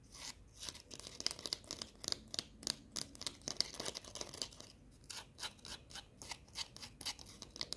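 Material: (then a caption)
Baked dough. A small, crisp, hollow baked fortune cookie is held in the fingers and tapped and scratched with long painted nails. The result is a fast run of sharp, dry clicks and scratchy rasps, almost all high-pitched, each dying away instantly.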